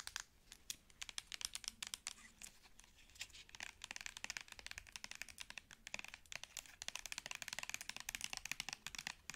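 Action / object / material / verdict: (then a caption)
tap / plastic cosmetic squeeze tube / plastic / none. Long nails tap the cap end of a plastic cosmetic squeeze tube and scratch along its body. The result is a quiet, rapid stream of bright, dry clicks and crinkly scratching with no ring and almost no low end. The taps grow denser toward the end.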